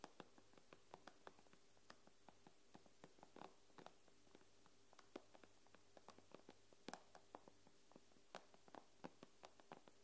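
Long pink nails tap on the glass screen of an iPad lying face up, making about 30 quiet, sharp clicks in an uneven rhythm. Each tap is dry and dies away almost at once, over a faint, steady low hum.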